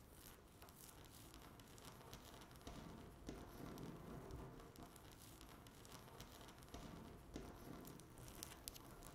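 Long natural nail tips rapidly tap and scratch a flat, solid speckled laminate tabletop. The result is a quiet, dense stream of dry clicks and crackly scraping with no ring, and a few brighter ticks stand out.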